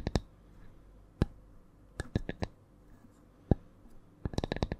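A small, flat, round wooden coaster is held above the microphone and tapped with long nails in an irregular, changing rhythm. The taps are short, dry clicks with a bright edge that stop almost instantly, grouped loosely early on and in a quicker run at the end. The coaster sounds solid.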